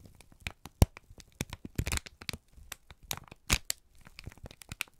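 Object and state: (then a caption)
Crumpled kraft paper. A wrinkled brown kraft paper strip is squeezed and crinkled by both hands. The result is a rapid, irregular series of dry crackles and sharp snaps with bright, papery highs. A few louder crunches stand out between quieter rustling.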